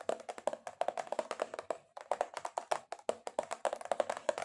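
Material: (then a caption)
Cardboard. Long acrylic nails tap aggressively on a cardboard box in rapid, uneven bursts. Each tap is short and dry with a hollow mid-range knock and almost no ring. There is a brief pause just before the two-second mark.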